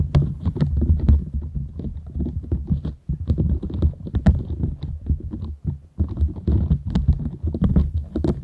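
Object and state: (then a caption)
Silicone scrubber pad scratched. Long nails scratch downward across the nubs of a half-round green silicone bristle pad. The result is a dense, low, thumping rumble of rapid scrapes with faint bright flicks. The sound pauses briefly near 3 and 5.7 seconds.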